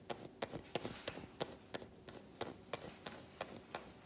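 Long nails tap and scratch the smooth back of an unwrapped solid milk chocolate bar. About 13 quiet, crisp taps fall in a fairly steady rhythm of roughly three per second, each a short bright click with a mid-toned body and almost no ring. A soft scratchy hiss fills the gaps between them.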